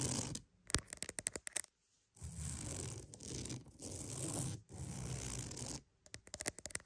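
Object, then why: Wooden mat. A wooden mat is tapped and scratched for ASMR. Quick, crisp fingertip-style taps open the clip, followed by a brief pause and then long, steady scratching strokes with a broad, bright texture. The clip closes with another cluster of sharp taps.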